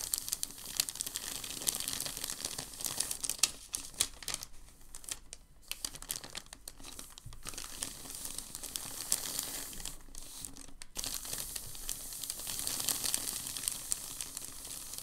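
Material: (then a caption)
Paper. Fingertips and palms rub and press a heavily crinkled sheet of thin packing paper lying on a table. A dense, continuous bright crinkling and crackling fills the clip, with brief quieter dips around the 5-second and 11-second marks before the rustling swells again.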